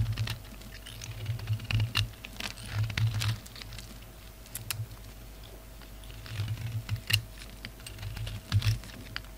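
A solid red and grey bar of soap is shaved with a utility knife blade in many short scraping strokes, producing crumbly shavings. Quiet, dry scrapes and crisp crackling ticks come in uneven bursts with brief pauses between them, over a steady low hum.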